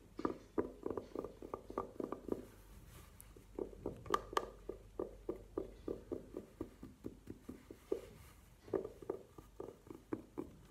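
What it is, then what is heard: Velvet-covered jewelry case. Long nails tap and scratch the velvet surface of a hollow, burgundy velvet-covered hard jewelry case standing upright on a table. The result is a quick, uneven run of soft, muffled taps with a hollow low-mid body, a few sharper, brighter clicks, and faint scratching between them. Each tap dies away almost at once.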